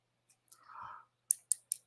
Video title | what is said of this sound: LIVE AT 5 JEWELRY AUCTION VINTAGE COSTUME LOW STARTS, BIN FUN!! | that sounds like glass guys not resin